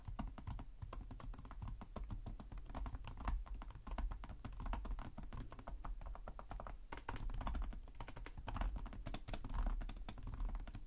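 Fingertips of both hands type rapidly on the plastic chiclet keys of a black laptop keyboard set in a hollow chassis. A steady stream of quick, short clicks and taps carries a deep, hollow thump underneath, with each tap dying away almost at once.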